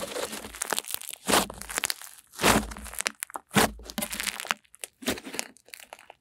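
An off-white blob of cream-white butter slime is lifted, folded and squeezed in both hands with long nails. It gives a run of soft, crackly, crinkling pops and squelches, broken by several louder, brighter crunching bursts. Quieter gaps fall between the handfuls.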